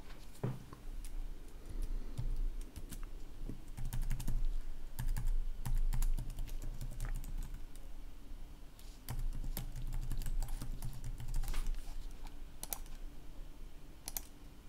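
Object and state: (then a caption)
Plastic laptop keyboard. Fast typing on a red-backlit plastic laptop keyboard, with both hands striking the keys quickly with the fingertips throughout. Rapid, uneven clicks and taps rise in bursts over a steady low hum.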